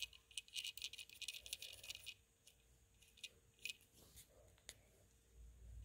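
A small plastic and metal Beyblade spinning top, with a gold and teal plastic body and a grey ring that may be metal, lies on dark fabric and is brushed and rubbed with a small green-handled brush. A dense flurry of bright, sharp clicks and rattles, possibly from loose parts, fills the first two seconds. Softer scratchy brushing follows, broken by a few isolated ticks, with a faint low rumble at the end.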